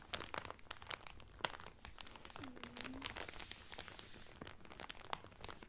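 Fingertips and nails crinkle the clear cellophane wrapper around a blue Carnival cotton towel folded flat. The result is a steady run of dry, bright crackles and sharp snapping clicks with almost no ring. A faint low hum drifts through the middle of the clip.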